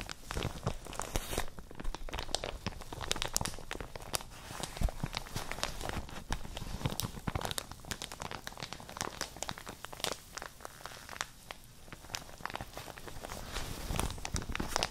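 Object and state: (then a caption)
Plastic shower cap being crinkled. A printed plastic shower cap, soft and empty, is scrunched and crinkled with both hands right next to the microphones. Dense, continuous crackling and crinkling runs throughout, with bursts of bright, sharp crackle over a low rumbling handling noise.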